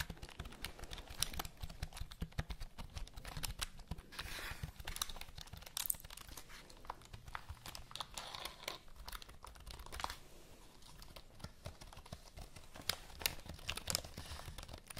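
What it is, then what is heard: Plastic computer keyboard. A full-size black plastic computer keyboard is held vertically in front of the mic while long nails tap and press its keys. Dense, rapid, dry clicks and taps come in a steady stream with a bright, crinkly edge, each one short and quick to die away over a soft low rumble.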